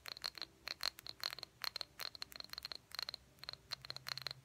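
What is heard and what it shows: Fingernails tap the body and the labeled bottom of a small, empty, hollow cobalt blue glass jar with a cork lid. The result is a rapid, irregular series of quiet, bright clicks, each carrying a brief high glassy ping that dies away almost instantly.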